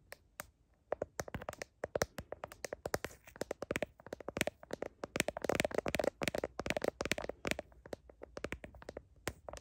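Long painted nails tap and scratch around the camera lenses of a hand-sized phone in a glossy blue heart-pattern plastic case, the phone itself recording while held up to a mirror. A fast, uneven stream of sharp, dry clicks with very short decay comes through, with bright scratchy edges and a light hollow plastic tone, the tapping thickening into a denser flurry midway.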